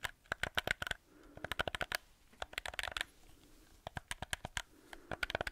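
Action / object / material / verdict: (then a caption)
tap / plastic game controller housing / plastic / none. Fingertips and nails tap and scratch the housing of a black hollow plastic gamepad held close in front of a microphone. About two dozen short, dry, clicky taps come in quick bursts, with a hollow plastic tone near 1.5 kHz and bright ticks. Between the bursts, soft scratching fills the quieter gaps.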